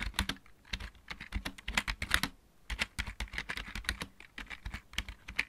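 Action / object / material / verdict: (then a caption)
tap / plastic mechanical keyboard / plastic / none. A full-size backlit mechanical keyboard with plastic keycaps is typed on with the fingertips of both hands. Quick, bright clicky keystrokes come in uneven bursts with brief pauses, each one a short sharp tick with a faint low thud beneath it.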